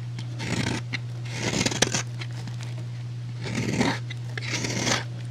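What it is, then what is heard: Bar soap being shaved. A utility knife blade shaves and scrapes across the surface of a solid rectangular white bar of soap held in the fingers. It makes four bright, crisp scraping passes with small crackling ticks, over a steady low hum.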